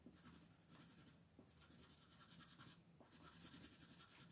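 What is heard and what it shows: A colored pencil rubs and shades the upper area of a flat paper coloring page lying on a table while the other hand holds the sheet. Quick, steady back-and-forth strokes make a soft, bright scratching hiss with a faint low rumble underneath. The quiet shading continues evenly throughout.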